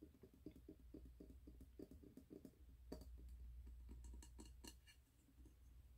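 Fingertips and short nails tap quickly on the glass side and the lid rim of a medium 3-wick glass candle jar filled with wax, with a red label and a gold metal lid, held in both hands. The taps are soft, dull and fast, with little ring. Brighter, sharper clicks come through in the second half over a steady low hum.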